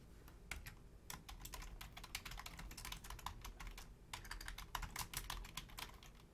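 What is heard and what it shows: Fingertips and long nails type quickly on a full-size black plastic Logitech keyboard with low-profile keys, including the number pad. Crisp, bright clicks and taps come in bursts over a low, steady background rumble, with a brief lull around the four-second mark.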